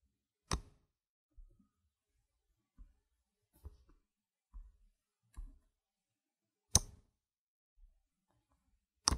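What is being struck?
Stack of plastic game tokens.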